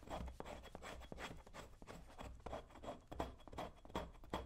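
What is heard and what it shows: A metal tool scrapes along the shaft of a brown leather cowboy boot held in one hand. Quick, rough rasping strokes repeat at an uneven pace over a low, soft rumble, each stroke dry and brief with no ring.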